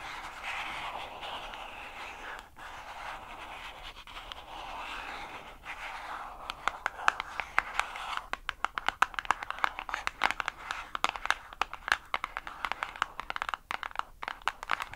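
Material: Cardboard.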